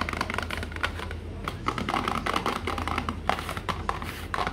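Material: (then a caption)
Cardboard. Fingertips and nails tap rapidly on the sides and top of a small, hollow, printed cardboard multivitamin box. The taps are light, dry and papery, each ending almost instantly, over a steady low hum.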